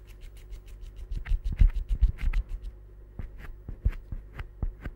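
A small, solid green rubber or silicone stress ball is held close by the fingertips and squeezed and scratched with the fingers. It makes a quick, irregular run of soft, dull scratching taps with low thumps beneath them, which grow busier and louder in the middle and then thin out toward the end.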